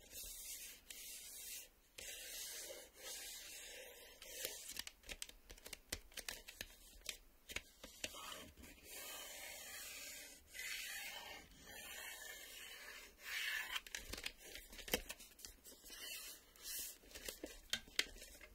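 The plastic surface of a VHS video cassette is scraped in repeated strokes, making a dry, hissy, high-pitched rubbing sound like light sanding. Short, sharp ticks punctuate the quiet, close scraping, with almost no low-end body.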